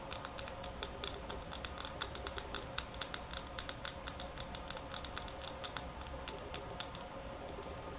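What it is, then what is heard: Glass nail polish bottle. Long nails tap and scratch a small, partly filled glass nail polish bottle held close, producing about forty sharp, bright clicks in an uneven rhythm. Each tap stops almost instantly, with a faint scratchy texture and a low steady hum underneath.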